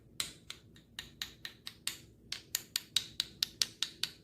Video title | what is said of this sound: 완벽한 홍삼만들기!! 이 영상을 보시면 완벽한 홍삼을 만들 수 있습니다! | 진짜 가볍고 이렇게 소리를 한번 들어보시면 / 이렇게 맑은 소리가 나요